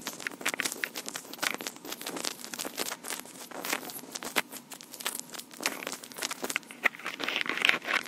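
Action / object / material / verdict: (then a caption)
scrape / plastic portable audio recorder / plastic / none. Long pink acrylic nails scratch and tap the top of a small black plastic Tascam portable recorder with metal mic capsules. Dense, crisp clicks and scratchy rustles run throughout, bright and dry with no low end and almost no ring.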